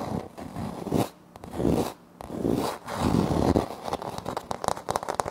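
Fingertips and short nails of both hands scratch and tap a flat, solid wood-look laminate floor panel with a light wood-grain print, beside a Tascam recorder that is left untouched. Dry, raspy scraping comes in bursts with brief quiet gaps, then turns into quicker, crackly scratches and light taps toward the end. The sound is mostly low and mid-range with very little high brightness and almost no ring after each stroke.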